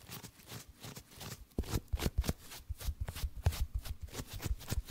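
A small paperback book with a cream page block and a green cover is held in both hands close to the microphone while fingertips and thumbs riffle and rub the page edges. The result is a rapid run of crisp, card-shuffle-like paper flicks with soft, low thumps under each burst and quick decays.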